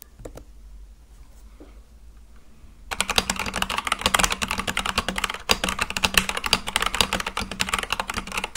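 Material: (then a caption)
Plastic. A full-size mechanical keyboard with white and light-blue plastic keycaps on a black case with RGB underglow, sitting on a desk, is typed on rapidly with fingertips. After about three seconds of near-silence with a few soft taps, a dense stream of bright, clicky keypresses begins. The stream pauses briefly around five and a half seconds and then continues steadily to the end.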